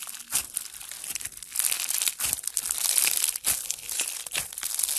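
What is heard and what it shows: Both hands knead a soft, solid mass of blue foam bead slime (floam) while fingertips squeeze it, producing dense, crunchy crackling bead pops. The sound is bright and high-pitched with almost no low end, and the crackles come in quick overlapping bursts that swell and fade.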